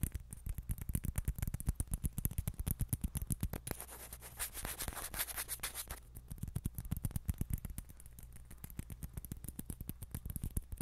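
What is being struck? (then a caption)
Plastic ping pong ball. A small, hollow orange celluloid or plastic ping pong ball is held in the fingers and tapped and scratched with long nails. Rapid, dense, dry taps carry a soft low thump, and a brief stretch of brighter scratching hiss replaces the tapping midway through. The quick, close tapping then resumes until the end.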